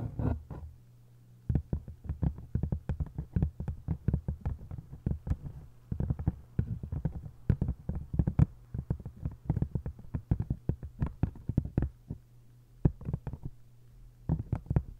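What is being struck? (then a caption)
Hardcover book with paper dust jacket. Long acrylic nail tips tap rapidly on the paper dust jacket covering both halves of an open hardcover book lying face-down with its spine up. The taps are quick, dull and low-pitched, each dying away almost instantly, over a steady low hum. The bursts come in fast uneven runs with a few brief pauses between them.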